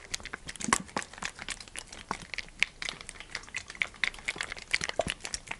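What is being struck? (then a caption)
PET plastic oil bottle, partly full. A large, clear PET plastic sunflower oil bottle with a green cap, partly full, is held in one hand while the fingertips tap and squeeze it. This produces a dense run of quick, bright crinkling clicks and crackles, mostly high in pitch with little low end.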